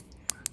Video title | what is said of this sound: Finally an Answer! Which one is Better?? Rolex Submariner vs Omega Seamaster Starbucks Seaweed watch | tight crisp 120 click bezel that just sounds amazing